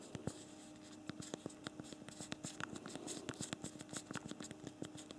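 A BlackBerry Priv smartphone's physical plastic keyboard is typed on rapidly with both thumbs. The result is a quick, uneven stream of short, dry clicks that fades almost instantly, with bright tops over a steady faint low hum.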